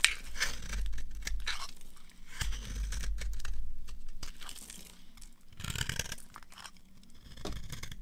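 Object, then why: Bar of soap carved with a knife. A solid, dry beige rectangular bar of soap is held in the hand and carved and scraped with a green-handled utility knife, shaving it into crumbs. The clip carries a run of dry, crackly scraping and tearing strokes with bright crunchy detail over a low background rumble, rising and falling in irregular bursts.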